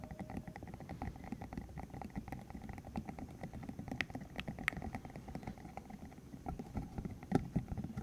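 A green hollow silicone cylinder about 15 cm long, covered in rubbery spikes, is held in the hands while fingertips flick, squeeze and rub the spikes. The result is a dense, steady stream of soft, low rubbery taps and squelchy rubs with a few sharper flicks that stand out near the end.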